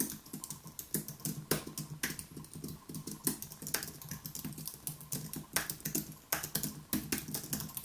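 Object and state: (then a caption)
Low-profile keyboard typing. Both hands tap rapidly with the fingertips on a white Apple Magic Keyboard, a plastic-key aluminium keyboard resting on a wooden desk. The result is a steady, dense stream of short, dry clicks with a soft low body and bright tops, and a few louder keystrokes stand out now and then.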